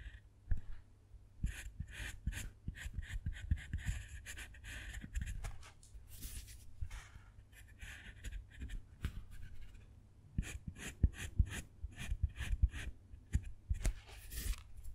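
A fine metal carving tool with a wooden handle scratches letters into a square of a segmented solid dark chocolate bar. Quiet, rapid scraping strokes come in dense bursts with short pauses, each stroke a dry, brittle scratch over a low rumble and a thin high hiss.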